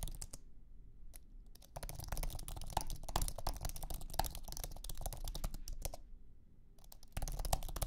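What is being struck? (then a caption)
Low-profile keyboard with aluminium base and plastic scissor keys. Fingertips type on a thin, low-profile iMac keyboard with an aluminum base and white plastic scissor keys. They make rapid, irregular, short soft clicks over a low background rumble, with brief pauses near the start and toward the end.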